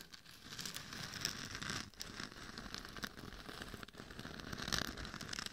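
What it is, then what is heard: Glitter-coated mannequin head being scratched. Long nails scratch the temples and top of a hollow, glitter-covered mannequin head microphone. The result is a dense, bright, crackling scrape that runs continuously, with brief dips in between strokes.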